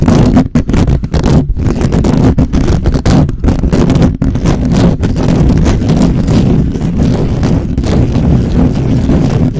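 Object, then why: Metal mesh microphone grille. Fingertips rapidly scratch and grip the top of a black microphone's hollow metal mesh grille. The result is a dense, continuous, low, booming rumble with rough scraping texture and brief crackling bursts throughout.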